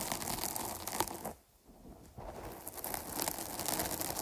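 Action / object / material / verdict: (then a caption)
scrape / foam microphone windscreen / foam / none. Long nails scratch the sides of a dark foam microphone cover, producing a dense, crackly, rustling scratch with bright hiss. The scratching briefly drops to near silence around the middle of the clip, then resumes just as busily until the end.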